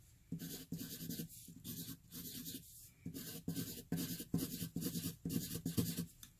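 A hand-held graphite pencil scribbles fast loops in the centre of a flat white paper sheet, rubbing and scratching the paper. About thirteen quick scratchy bursts of scribbling follow one another in an uneven rhythm, each with a bright, hissy top over a dull low rasp and little ring after each stroke.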